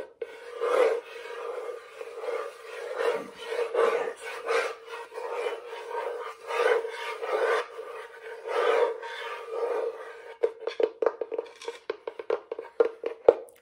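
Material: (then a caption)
Plywood. Long nails and fingertips scratch and rub across the flat surface of a small, square, thin plywood panel set in a light wooden frame and held up in the hands. Rhythmic, raspy scraping strokes with a steady hollow mid-pitched resonance run for about ten seconds. They then give way to a quick series of short, sharp taps and clicks.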